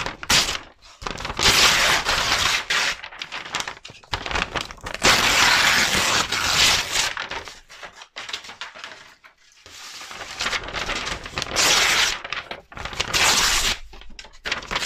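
A large, thin sheet of brown kraft wrapping paper is held in both hands close to the microphone while fingers with long nails fold and crumple it. The result is continuous bright, crackling crinkles in dense bursts, with brief quieter pauses between handfuls.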